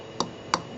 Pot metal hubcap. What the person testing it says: that almost sounds like plastic that's why pot still sucks